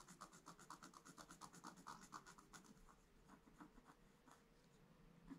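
A wooden stylus scratches small lines into a flat, thin, black-coated scratch art paper sheet lying in a book. A steady run of short, dry scratching strokes rasps with a bright, hissy edge, louder and more distinct over the first half before settling into softer, quieter scratches.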